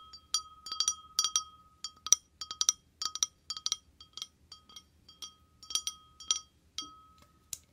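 An empty, hollow, clear glass wine glass is held in the hand and tapped quickly with short painted fingernails close to the microphone. The result is a rapid, irregular run of sharp, bright clinks, each ringing with a clear tone around 1.2 kHz plus high overtones and dying away almost at once.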